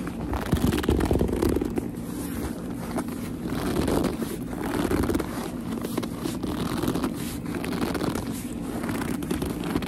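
Long nails grip and rub the shiny surface of a black leather purse, making squeaks. Dense rubbing and crackly scraping runs continuously throughout, with a low rumble underneath and little high-end brightness.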